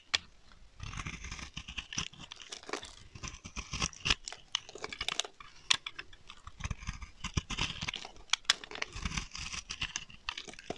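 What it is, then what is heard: Dry soap bar being shaved with a blade. A utility knife blade scrapes thick curling shavings off the face of a solid, dry, dark olive-green octagonal soap bar held in the hand. The result is a dense run of crisp, bright scraping and crunching with many sharp clicks and almost no ring.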